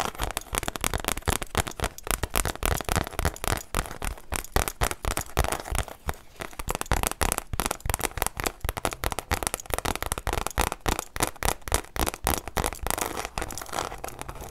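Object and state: Leather-bound journal.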